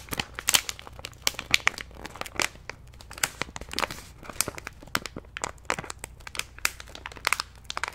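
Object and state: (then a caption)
Plastic snack pouch being crinkled. A medium orange-and-white plastic stand-up snack pouch, apparently not empty, is held in both hands close to the mic while fingers squeeze and crinkle the packaging. The result is a steady run of bright, sharp crinkles and crackles with little low end. Each crackle snaps off almost instantly.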